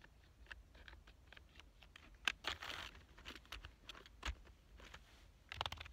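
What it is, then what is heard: Plastic computer keyboard. Fingertips type on the keys of a black plastic full-size keyboard, producing a quiet, uneven run of short, bright, clicky taps that stop dead with no ring. A few keystrokes land harder, with a brief rustling flurry near the middle and a denser, louder burst of taps at the end.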